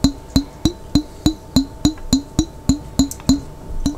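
Fingertips tap the glass body of a large clear glass pickle jar with a lid, held sideways and partly filled with water. Thirteen quick, evenly paced taps each give a short, hollow, woody knock around 270 Hz with a bright glassy click on top. Each tap dies away almost at once.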